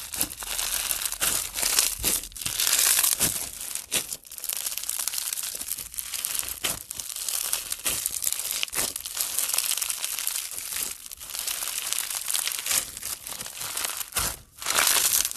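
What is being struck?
Slime packed with small plastic beads.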